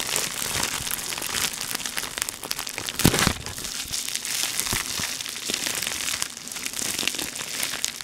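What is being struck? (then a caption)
Plastic air-cushion packaging sheet. A clear plastic air-cushion packaging sheet with grid cells is held and folded in the hands while the fingers crinkle it. The result is a steady, dense, bright crinkling with many quick crackles and a sharper, louder crunch around the three-second mark.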